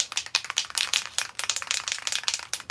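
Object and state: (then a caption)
Spray paint can with a loose, free-rattling mixing bead. A metal aerosol spray paint can is shaken before painting a vintage outboard motor, and the mixing bead inside rattles in a rapid run of sharp, bright clicks with almost no ring. The bead knocks around freely, showing it is loose and mixing the paint.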